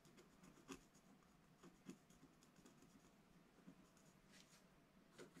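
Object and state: Scratch-art paper page being scratched.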